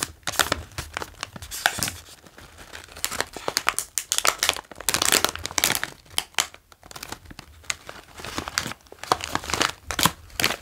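A full, medium-sized green plastic bag of OLW Dill & Gräslök potato chips is held in both hands and tapped and traced with the fingertips. Bright, dense crinkling comes in quick bursts that rise and fall in waves, with short dry taps in between.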